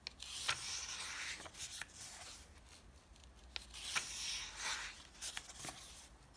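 Fingertips rub the thin pages of an open softcover paper comic book and turn them over. Soft, bright swishing and rustling are broken by sharp, crisp paper snaps as each page flips. The sound is quiet and close throughout.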